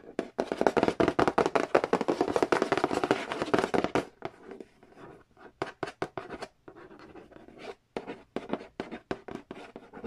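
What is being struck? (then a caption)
Glossy cardboard game box lid. Fingernails trace and tap on the glossy printed cardboard lid of a large, flat, hollow Monopoly Nintendo edition board game box. For the first four seconds, a dense, fast run of dry scratching and tapping rustles across the lid. After that it thins into quieter, sparser taps and short scratches with almost no ring.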